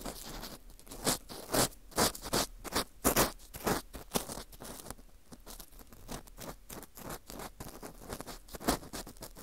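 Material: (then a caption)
Wheat gluten. An orange plastic earpick scrapes inside the center hole of a dry, porous slice of dried wheat gluten fu. It makes an irregular series of short, bright, crackly scratching strokes, some louder and some softer, with dry rustling between them.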